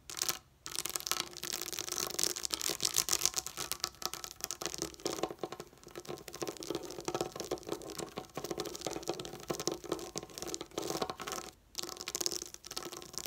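Long nails scratch quickly across a flat sheet of small colored plastic dome dot stickers lying on a table. The result is a dense, bright, crackly rasping that runs almost continuously, with only brief pauses.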